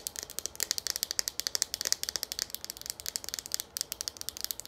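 Long nails tap rapidly on a hollow green plastic Garnier shampoo pump bottle, making about 39 quick, separate clicks over nearly five seconds. Each tap is sharp, bright and dry, with almost no low end and no ring between hits.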